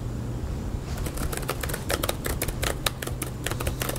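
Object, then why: Plastic laptop keyboard. Fingertips tap steadily on the white plastic keyboard of a small laptop resting on a green metal mesh picnic table outdoors. After a brief quiet start, a stream of quick, bright clicks rises over a steady low background rumble.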